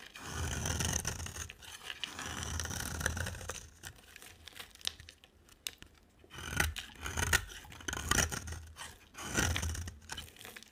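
A box cutter blade carves and scrapes curls from a solid, pale green, oval bar of dry soap held in the hand. Dry, crunchy scraping strokes come in several long passes, each a grainy rasp with a bright, papery edge and a low rumbling body. Short quiet gaps separate the strokes.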